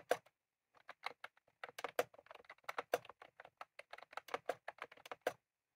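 Both hands type rapidly with their fingertips on a full-size retro-style plastic mechanical keyboard with round cream plastic keycaps and a plastic case, resting on a desk. A quick, irregular stream of crisp, dry clicks and taps follows a short pause near the start, each keystroke dying away almost instantly with a mid-pitched clack and almost no low thump.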